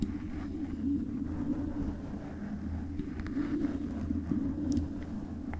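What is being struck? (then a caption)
Metal microphone body. Long pale-painted acrylic nails from both hands scratch and tap the hollow metal housing of a silver metal condenser microphone body with stickers and a black foam cover on top. The result is a steady, dense low rumbling scrape with a murmuring tone, overlaid by faint, brief bright ticks from the taps.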